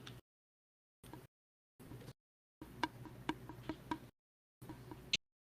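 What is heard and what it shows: A drinking straw, an empty tube, is tapped on its end six times, each light tick giving a short resonant pitch near 950 Hz that dies away almost at once. The taps come in a quick cluster and then one last tap, with silent gaps between stretches of faint background noise.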